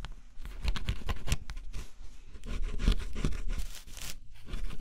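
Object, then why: Cardboard jigsaw puzzle with scratch-off coating. A small tool scratches the black scratch-off layer of a flat, solid cardboard jigsaw puzzle. It makes a steady run of dry, rasping scratches, and quick bright strokes stand out over a low rumble. The strokes come at uneven intervals, with a short pause near the end.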